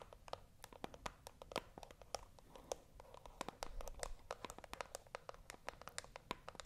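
A small, hollow white cardboard box held in both hands is scratched with long acrylic nails. The result is a rapid, uneven run of short, dry clicks and scratches with a hollow mid-range tone. Brief bright ticks sit over a faint low rumble.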